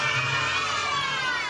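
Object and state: Nothing is struck.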